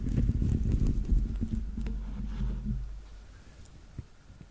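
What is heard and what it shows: Fingernails tap and scratch the grey, textured, rubber-dotted sole on the stuffed foot of a yellow Teletubby plush held close to the microphone. The result is dense, muffled, low-pitched tapping and rubbing that fades after about three seconds, leaving a few soft, isolated taps.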